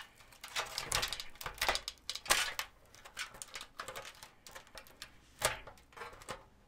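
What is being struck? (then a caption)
Thin crumpled aluminum foil. A small crumpled piece of thin aluminum foil is held in both hands close to the microphone while fingertips squeeze, crinkle and pull at it. Irregular bursts of bright, crackling rustle come and go in quick clusters with short quiet gaps, the sharpest crinkles standing out above the steady patter.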